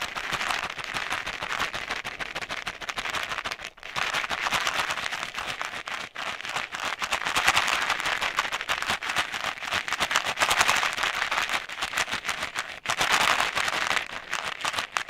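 A round, palm-sized plastic Ice Breakers container filled with mints is held in one hand next to the microphone and shaken. It makes a dense, bright, crackling rattle of many small clicks, with brief pauses near 4, 6 and 13 seconds. There is almost no low end.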